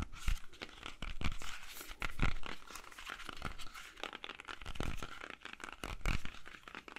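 Fingernails scratch and tap the skin of a whole, solid red-yellow apple held in both hands. The sound is a dense run of crisp, crinkly scratches with bright hiss, broken by short dull thuds that die away almost at once.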